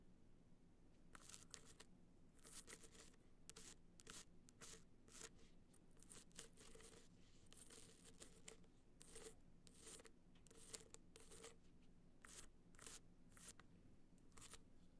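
Long nails scratch down a small, rigid, hollow gold hard-shell box clutch held upright, its surface covered in gold metallic material with raised dots. The clip is a quiet run of quick, bright, dry scratching strokes with a faint hollow tone, set over a low steady hum.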